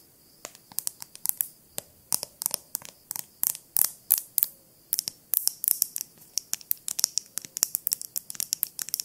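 Long nails tap and scratch a small ribbed glass jar with a glass stopper lid and yellowish contents, striking both the lid and the body. The result is a dense run of sharp, bright clicks with almost no ring, bunched into quick irregular bursts across the clip, with faint scraping between taps.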